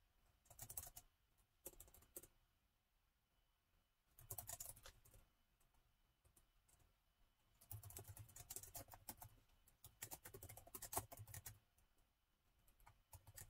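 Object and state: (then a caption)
Laptop keyboard with plastic keys. Fingertips of both hands type on the black plastic keys of a gold metal-look laptop with a hollow body. Quick bursts of light, bright clicks with a soft low thump underneath come in several runs separated by quiet pauses.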